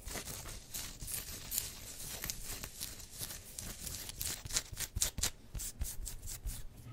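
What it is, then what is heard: Polyester sports jersey being scratched. Long white-tipped nails and fingertips scratch and rub across the chest of a black-and-yellow pinstriped, football-style polyester sports jersey worn on the body, its thin synthetic fabric stretched over the chest. The result is a steady run of dry, bright, scratchy rasps and quick swishes, with sharper bursts toward the end and a soft low rumble beneath.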